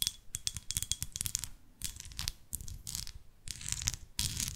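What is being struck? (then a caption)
Textured glass owl-shaped candle holder. Long artificial nails tap and scratch a small, hollow, green textured glass candle holder shaped like an owl, which appears empty. The result is a quick run of bright, clicky taps and scratchy rasps with no lingering ring, coming in uneven bursts separated by short pauses.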